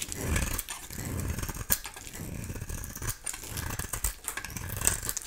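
A solid oval bar of dry soap, painted pink with an amber translucent interior, is held in the hand and shaved with a utility knife blade. Dense, crackly scraping and cutting textures run throughout, with a low rumble underneath and bright, crisp snaps standing out.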